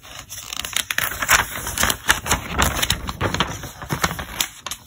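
Fingertips turn and flip the printed pages of a thick, glossy, solidly bound paper trade catalog, with a loose flyer insert at the start. The result is a quick run of sharp, dry paper snaps and crackles with bright, crisp rustling between flips and very little low end.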